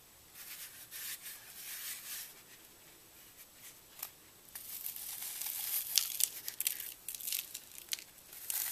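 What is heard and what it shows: Fingertips with short nails press, rub and crumble the dried orange and white glitter-flecked paste crust on a hand-sized, lightly porous, solid brick of green floral foam held over a dark table. The crunchy, bright crinkling has almost no low end and arrives in uneven bursts. It is quieter at first and grows louder and denser in the second half.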